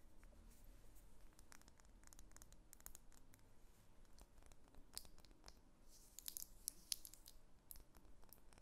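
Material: Wax.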